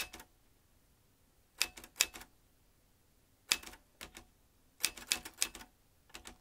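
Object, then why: Metal manual typewriter. Fingertips of both hands press the round keys of a large, hollow vintage metal manual typewriter with exposed typebars, typing in irregular bursts separated by short quiet gaps. Each keystroke is a sharp, bright metallic clack with a faint ping near 2.6 kHz that dies away almost instantly, with almost no low end.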